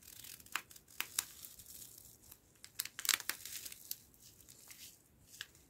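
A green foil-laminate coffee stick sachet is squeezed, crinkled and scratched along its length by fingertips and nails. Bright, crackly crinkles and scratchy rustles come in quick irregular bursts over a faint hiss. The sharpest pops cluster near the middle of the clip before the sound thins out.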